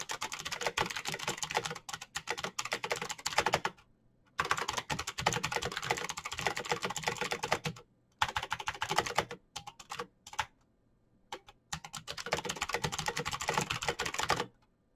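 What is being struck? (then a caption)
Plastic mechanical keyboard. Fingertips type fast on the clicky switches of a black plastic mechanical keyboard, giving dense bursts of sharp, bright clacks. The typing comes in runs separated by short pauses, with a few isolated key taps between the bursts.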